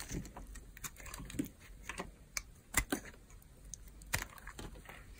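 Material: Soap.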